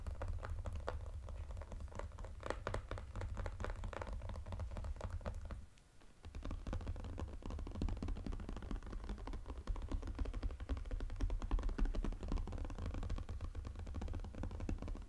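Fingernails tap fast and scratch across the lid of a glossy cardboard jigsaw puzzle box lying flat, making dense, irregular clicking and scraping with a low, muffled body. The tapping runs nearly continuously, drops out briefly around six seconds, then resumes just as busily to the end.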